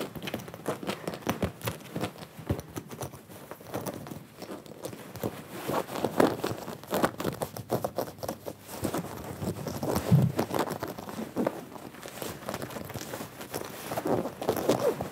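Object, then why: Denim jacket. Fingertips and nails from both hands scratch and rub the chest and front panels of a worn blue denim jacket with a sherpa collar, with a white earphone mic cable hanging close by. A dense, continuous run of close, soft scratching and rustling fills the clip, with short textured strokes carrying low-mid body and a faint bright hiss.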